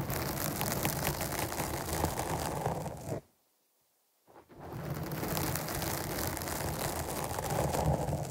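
Long nails scratch the top and side of a black foam windscreen on a microphone, making a dense, continuous rustling scratch with a low rumble and a bright hiss. The scratching stops for about a second and a half, with only a faint brief scrape in the silence, then resumes just as steadily until the end.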